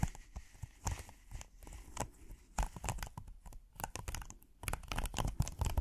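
A flexible red silicone hexagonal trivet with a dotted texture is bent and held in the hands while fingernails scratch across its textured surface. The result is a dense, irregular stream of short, dry scratching and crinkling bursts with bright ticks on top and a soft, muffled low-end thump underneath, rising and falling in loudness throughout.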